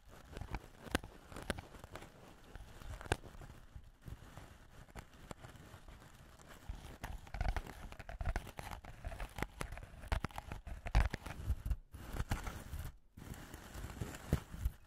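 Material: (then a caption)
Steel wool. A thin wooden ear pick pokes and scratches into a fist-sized loose ball of fine steel wool wrapped around the head of a handheld recorder, which is held in the other hand. Close, dense crunching and crinkling scratches come in irregular bursts with sharp spikes, heavy in low rumble, with a few brief near-silent gaps.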